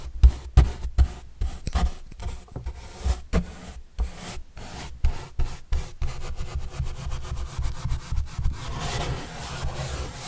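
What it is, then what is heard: Corrugated cardboard panel being brushed. A paintbrush is brushed and rubbed across a large white printed corrugated cardboard box panel with green edges, held by hand. Separate, irregular, dull scratchy strokes with a deep, low-heavy thump fill the first six seconds. The sound then blends into a denser, steady rubbing that continues to the end.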